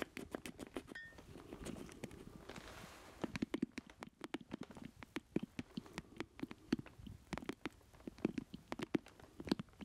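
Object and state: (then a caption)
Plastic joystick controller. Fingertips and nails tap and scratch the hollow base of a black plastic joystick controller held in both hands. Dozens of quick, dry, clicky taps carry a hollow low-mid body, with a stretch of brushy scratching early on. The tapping grows sharper and more spaced after the first few seconds.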